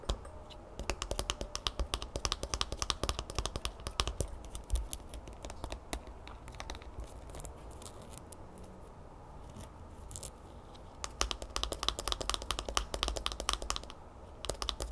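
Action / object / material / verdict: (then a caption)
tap / plastic squeeze bottle / plastic / none. Long fingernails tap quickly on the orange plastic cap and body of a small, partly full, bear-shaped plastic honey bottle. The bright, clicky taps come in dense bursts, ease into quieter, sparser tapping midway, then pick up again toward the end, over a low steady hum.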